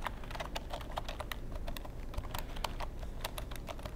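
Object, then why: Plastic computer keyboard. A long black plastic computer keyboard is held edge-on in front of the microphone while fingertips type and tap on its keys and casing. Rapid, dense, crisp plastic clicks with a bright edge sit over a steady low rumble throughout.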